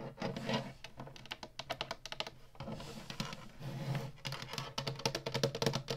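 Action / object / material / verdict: tap / plastic game console underside / plastic / none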